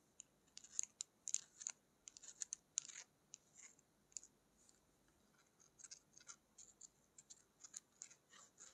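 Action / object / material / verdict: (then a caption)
tap / plastic lip gloss tube / plastic / none. A slim, hollow plastic lip gloss tube with a black cap, capped and apparently partly filled, is held in both hands and tapped and scratched with long acrylic nails. Quiet, bright, crisp clicks and scratchy ticks come in irregular bursts, with almost no low end and no ring after each touch.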